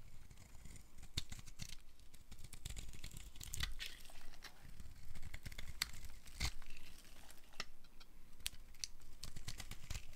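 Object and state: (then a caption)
Dry bar soap being carved. A small metal blade carves crumbly flakes off the edge of a green-and-white striped solid dry soap bar held in the palm. Dry crinkling scrapes come with many sharp, bright crunchy cuts over a soft, low rumble, continuing steadily for about ten seconds.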